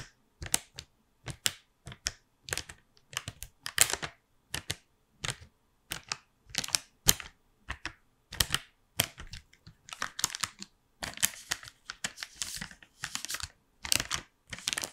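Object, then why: Thin plastic blister tray holding chocolates. A gold plastic blister tray in a white cardboard frame, full of chocolates, is held in one hand and tapped and scratched with the fingernails of the other. Quick, dry, bright clicks and scrapes come in irregular bursts throughout, each dying away almost instantly with little low end, like rapid typing.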